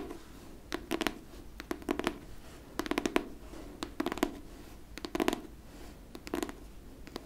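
Long painted nails tap and scratch the paper-covered board cover of a solid, medium-sized pink hardcover book. Quick clusters of sharp, dry clicks come in irregular bursts about a second apart, with a faint scratchy hiss between them. Each tap dies away almost instantly with a light, hollow tone.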